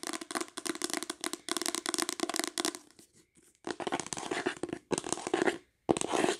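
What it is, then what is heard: Faux leather book cover. Long acrylic nails rapidly tap and scratch the cover of a solid green embossed faux-leather hardcover book or journal, which is held and then laid flat. Dense bursts of quick, crisp clicks and scratchy rasps fill the clip, broken by brief quiet gaps near the middle and toward the end.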